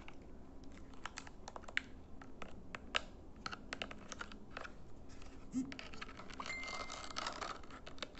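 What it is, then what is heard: Plastic IR remote control. Fingernails tap the casing of a small plastic LED infrared remote control and press its rubber buttons, turning it front and back. The result is a quiet, rapid run of short, dry, bright clicks and taps over a low background rumble, with a denser patch of scratchy tapping toward the end.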